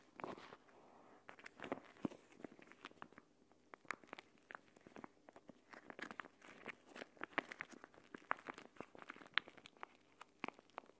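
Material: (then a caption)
Plastic. A palm-sized gel bead eye mask, a flat clear plastic pouch filled with green water-gel beads, lies on a woven mat while fingertips and long painted nails tap and scratch it; then both hands pick it up, fold it and squeeze it. The result is a quiet, steady stream of short, sharp clicks and bright crinkling scratches with almost no low end.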